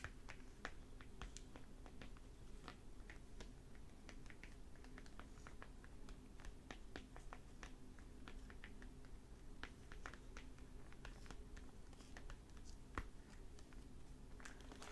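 Fingertips and short nails tap and scratch the glossy plastic library cover over the paper dust jacket of a closed, solid, fairly large hardback novel, "Shadow Dance," lying flat on a wooden table. Quiet, brief clicks and soft plastic crinkles scatter throughout over a steady low hum.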